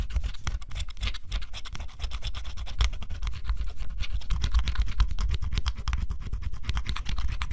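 A fine stylus scratches a thin, flat cardboard scratch-off jigsaw puzzle in short strokes, wearing through its black scratch coat to reveal blue underneath. The result is a dense run of dry, rasping scratches in an uneven rhythm over a low, muffled rumble, keeping a steady level throughout.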